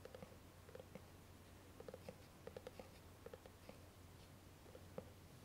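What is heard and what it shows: Long nails tap and scratch the lid and sides of a small, hollow white lidded cardboard gift box with a ribbon bow. The result is a quiet series of short, dull, hollow clicks with a mid-pitched knock and brief faint scratchy hiss, over a steady low hum.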